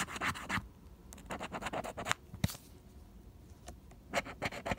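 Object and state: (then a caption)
Scratch-off lottery ticket being scraped. A pink plastic scraper scratches the latex coating off a single flat cardstock scratch-off lottery ticket held down by fingertips, progressively revealing the numbers. Quick, irregular bursts of dry, bright scratching strokes come in clusters, with a quieter pause in the middle before another flurry at the end.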